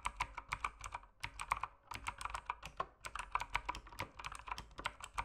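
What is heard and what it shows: Fingertips type steadily on an RGB mechanical keyboard with plastic keycaps, producing about 27 sharp, clacky keystrokes. The clicks have a bright, plastic tone centered near 1 kHz and stop almost instantly. They come in quick bursts, with brief pauses around the one- and three-second marks.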